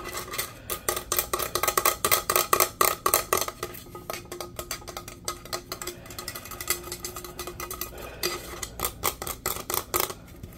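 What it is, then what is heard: Insulated metal tumbler. A teal, powder-coated stainless steel insulated tumbler of medium size, hollow and fitted with a lid, is tapped quickly with fingertips and nails. The result is rapid, uneven bursts of short, bright metallic clicks and taps that ring faintly around 1.1 kHz. Loud clusters in the first half give way to softer, denser tapping before a last louder run.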